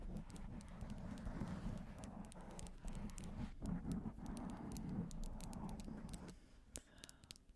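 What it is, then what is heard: Foam microphone windscreen being scratched. Long painted nails and fingertips rub and scratch a black foam windscreen covering a microphone. The result is a dense, muffled low rumble with a steady throb around 180 Hz, broken by bright, crackly scratch ticks. Near the end it thins to scattered sharp clicks.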